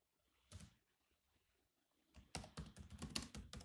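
Both hands tap the black plastic keys of a silver laptop keyboard with their fingertips, giving seven clicky taps in all. A single tap is followed by a short pause, then an irregular run of quick taps. Each tap has a low thud and a bright, crisp click that dies away almost at once.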